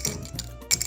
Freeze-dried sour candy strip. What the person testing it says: This actually sounds insane. Literally sounds like metal.